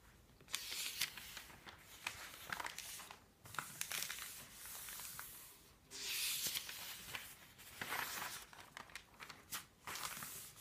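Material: Paper.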